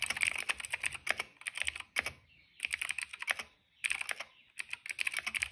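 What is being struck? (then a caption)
Plastic mechanical keyboard keys. Fingertips type across the plastic keycaps of a retro plastic mechanical keyboard. Fast, bright, clicky keystrokes come in quick bursts separated by short quiet pauses, with almost no low end and no ringing after each press.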